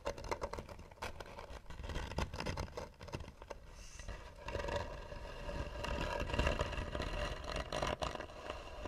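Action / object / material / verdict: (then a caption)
scrape / carved wooden box lid / wood / none. Long nails scratch the lid of a hollow, carved tan wooden box. The result is a dense run of rough, irregular scraping strokes with a strong low rumble and a hollow resonance around 570 Hz. The scratching gets heavier and more sustained in the second half.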